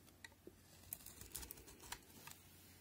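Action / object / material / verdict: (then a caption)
scrape / bar of soap cut by a knife blade / soap / none. A utility knife blade shaves flaky layers off a solid cream-white soap bar held in the hand. It makes a quick, quiet series of crisp, bright scraping and cutting ticks, each dying away almost instantly over a faint low background hum.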